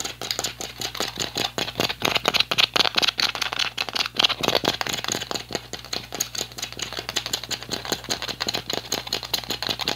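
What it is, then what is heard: Crushed plastic water bottle. An empty, hollow clear PET plastic water bottle with a blue cap is twisted and crushed by both hands. It gives a dense, irregular run of sharp, bright rattling crinkles that crackle quickly, with almost no low end and very short decay after each snap.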